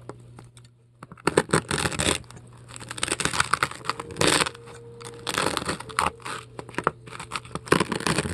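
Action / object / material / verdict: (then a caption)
scrape / polystyrene foam ball scraped with a metal scoop / polystyrene foam / none. A metal scoop tool scrapes and carves pieces out of a large polystyrene foam ball. Bursts of loud, crunchy, scratchy scraping with a bright, hissy edge alternate with short quieter pauses. A steady low hum runs underneath throughout.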